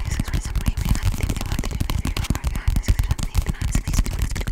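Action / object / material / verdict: tap / paperback book / paper / none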